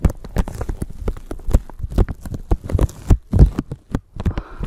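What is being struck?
Thin plastic bag.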